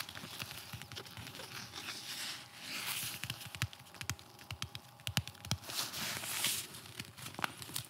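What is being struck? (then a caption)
Nylon fabric-covered flexible armor plate. A blue, nylon fabric-covered flexible body armor plate (FRAS), about torso size and solid, is held in the hands and slapped and tapped on its fabric surface with the palm and fingertips. Many quick, sharp taps and slaps cut through a steady bright, crinkly rustle of the fabric, with short, dull thuds underneath and almost no ring after each hit.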